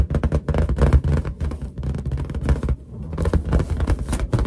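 Long nails tap a large, hollow, inflated white latex balloon, then fingertips rub its lower surface. The result is a dense run of quick, deep, hollow thumps with very little ring, followed by a low, muffled rubbing sound.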